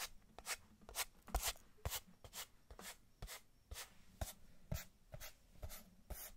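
Fingertips and long nails rub and scratch the sides of a small, hollow kraft cardboard box held close up. The sound comes as a steady run of short, bright scratching strokes, each with a low papery thump beneath it, about two per second.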